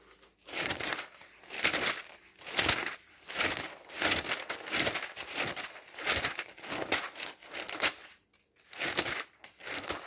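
Fingers quickly riffle and flip the many thin pages of a glossy paper home goods catalog. Repeated bursts of bright, crinkly fluttering paper rise and fall with short pauses between them, with almost no low end.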